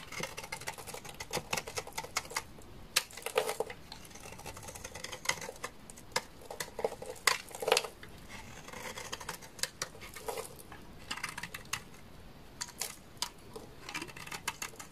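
A utility knife blade scrapes a hand-sized solid orange bar of soap, peeling off yellow curls. It makes a quiet run of dry, crisp scratching and crackling ticks with bright, papery texture and a few louder snaps. Each sound stops almost at once.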